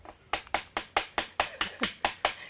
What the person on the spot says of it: quindi anche il suono è un suono metallico